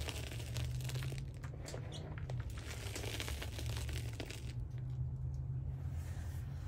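Hands scoop and crush handfuls of a white SPRI gym chalk (magnesium carbonate) powder pile in a black dish, with fingertips pressing and crumbling the powder. Dense, crunchy crinkling and crumbling runs continuously with bright, gritty texture over a steady low hum.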